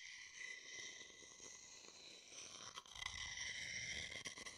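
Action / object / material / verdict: scrape / small wooden bowl and wooden stick / wood / none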